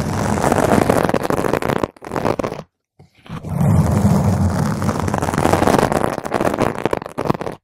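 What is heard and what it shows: Long pointed nails on both hands scratch a round purple foam cover on a microphone, making dense, rough, rumbling friction noise with a strong low-frequency body. The scratching runs in rapid bursts, with a short break of near silence before it resumes just as intensely.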